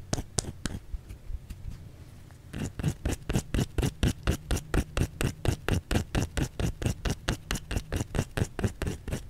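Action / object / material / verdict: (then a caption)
tap / bar of soap / soap / none. Long fingernails tap and scratch a white solid bar of soap held in the hand. A few light, scratchy taps and a brief quieter stretch give way to a steady run of about two dull, low, dry taps per second. The taps die out almost instantly.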